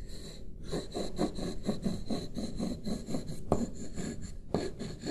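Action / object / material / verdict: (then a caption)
scrape / paper sheet on a wooden desk, rubbed with wooden sticks / paper / none. Two wooden stick tools trace and rub across a single sheet of white printer paper lying flat on a wooden desk. A steady run of soft, dry, scratchy strokes follows one another, with two sharper taps near the end.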